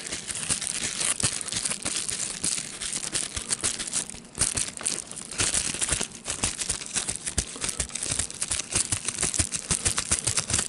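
A clear plastic bubble wrap sheet with air-filled bubbles is held in the hands, crinkled and squeezed with the fingers to pop the bubbles. Bright, dense crinkling runs throughout, broken by frequent sharp, quick pops, with brief quieter lulls near 4.3 and 6 seconds.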